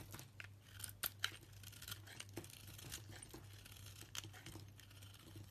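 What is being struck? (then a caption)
Bar of soap shaved with a small blade. A small blade shaves flakes off a solid soap bar with a pale yellow core and a green rind. Quiet, crisp scraping and bright crackling cuts repeat irregularly, with a few sharper clicks, over a steady low hum.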